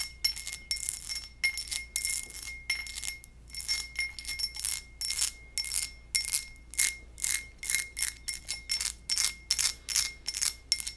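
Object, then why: Textured glass goblet. A textured glass goblet is tapped repeatedly in quick, uneven bursts. Each tap gives a bright, bell-like ping centred near 2.1 kHz, with a short ring that fades quickly and almost no low end.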